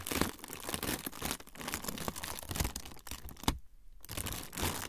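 A thin, flexible, semi-translucent frosted plastic sheet is crinkled and rubbed with fingertips. It makes dense, bright crackling and crinkling with sharp little snaps and a soft low rustle underneath. A brief near-silent pause comes before the crinkling resumes.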